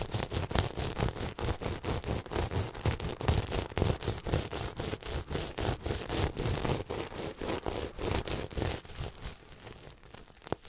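Fingertips scratch and rub up and down across a red and silver sequin throw pillow held close in front of the microphone. The result is a dense, scratchy rustling of rapid strokes, roughly two per second, with bright crisp clicking over a low, thumpy body. The strokes grow softer toward the end.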